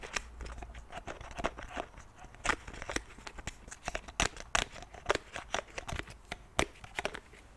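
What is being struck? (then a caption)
Plastic pump bottle. Fingernails tap and click on the pump cap and body of a white plastic cleansing milk bottle. The sound is a quick, uneven run of sharp, dry plastic clicks with bright, crisp tops and almost no ring, over a low, quiet background hiss.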